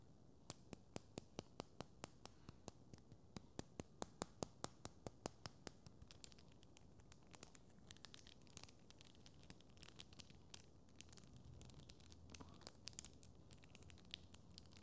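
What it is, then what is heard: Plastic tangle toy. A small, translucent teal and white hollow plastic tangle fidget toy is held in both hands and twisted by the fingertips, making rapid, irregular clicks as its plastic segments snap. The clicks are sharp, dry and bright with almost no ring, spaced apart at first and then growing denser with softer rustling in between. Everything sits quietly over a faint low background hum.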